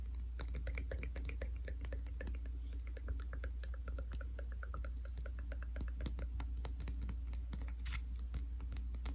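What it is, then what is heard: Plastic cream tube. A Yuskin hand cream tube of soft plastic with a grey plastic cap is held horizontally and tapped rapidly with the fingertips and nails. The result is a quick, dense run of light, crisp clicks and taps over a steady low hum.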